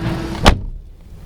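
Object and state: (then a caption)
Solid-sounding car door. A single solid, low thud from the door of a 2022 Mazda3 Fastback M Hybrid (BP), made from inside the car. It is a short, deep impact with little ring, set against a quiet background, and the door sounds solid.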